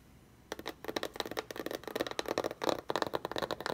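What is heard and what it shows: Long red-painted fingernails tap and scratch across the lid of a closed, hollow, medium-size corrugated cardboard BarkBox shipping box lying flat on a dark mat. After half a second of near silence, a quick, uneven run of dry, papery clicks and scratches follows, with a hollow mid-range tone around 600 Hz and very little bass. Each tap dies away almost at once.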